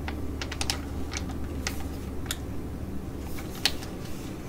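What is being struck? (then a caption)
Foil laminate sheet mask pouch. A flat metallic foil laminate sheet-mask pouch from ID.AZ Derm, filled with a soft mask, is held in hands and tapped and scratched with long nails. Sharp, bright ticks and crisp scratches sound over a steady low hum. The loudest tap comes near the end.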